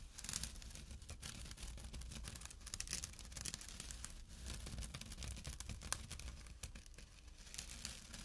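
Short fingernails scratch across the coarse fabric of a small, empty jute burlap drawstring pouch resting on dark cloth. The result is a steady, dense, dry rasping with bright, crackly scrapes and brief louder strokes, over a constant low hum.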